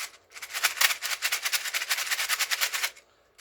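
An earlier, loose version of a twisty rail puzzle is shaken, giving a bright, dry, high-pitched rattle of fast clicking pieces that lasts about two and a half seconds before stopping. The parts shift loosely, and the rattle shows how much looser this version is than a tighter later one.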